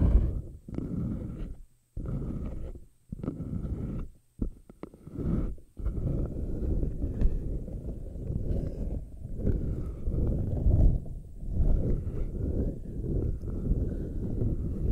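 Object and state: Silicone puffer ball being rubbed and scratched.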